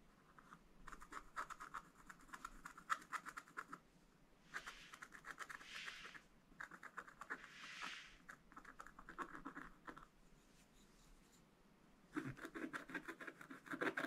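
A wooden stylus scratches coral and ship details into a black-coated scratch-art paper page. Soft bursts of rapid, dry scratching strokes come in groups separated by brief quiet pauses. Longer, brighter hissing sweeps appear in the middle passages.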